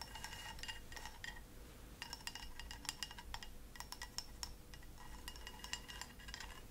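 Long acrylic fingernails tap rapidly on a small white ceramic cup held upside down, hollow and empty. The taps come in quick bursts of short, bright clinks with a faint high ring, over a quiet, steady low hum.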